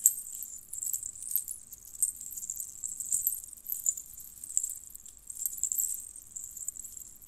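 Strands of small hollow colored metal jingle bells on a red cord with a metal clasp are twisted and shaken between fingertips with long nails. The result is a quiet, continuous, bright jingling with rising and falling bursts of tiny metallic rattles, almost entirely high-pitched with no low end.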